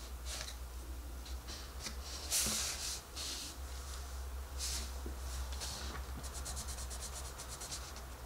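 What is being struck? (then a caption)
Pencil on paper page. A colored pencil rubs over a paper coloring book page resting on a table, coloring a rabbit's face with small scratching strokes. Bright, dry scratchy bursts come and go, with a quick run of short strokes near the end, over a steady low hum.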